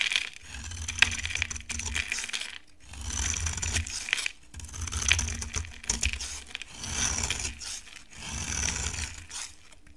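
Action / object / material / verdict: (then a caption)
scrape / bar of soap cut by a knife blade / soap / none. A utility knife blade carves and scrapes a solid, dry cream bar of soap in repeated long strokes. Each pass gives a bright, crackly, gritty scrape with a faint low rumble beneath, separated by brief quiet gaps.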